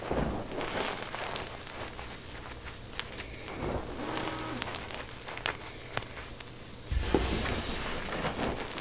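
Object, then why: Loose pile of gym chalk powder. Both hands with long painted nails dig into, squeeze and rub through a large loose pile of crushed white gym chalk powder on a dark surface. The result is a steady gritty, crunching hiss with a low rumble underneath, scattered sharp bright crackles, and a louder burst of crunching toward the end.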